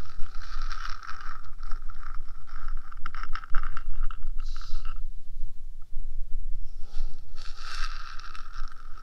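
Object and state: Metal microphone housing scratched with nails.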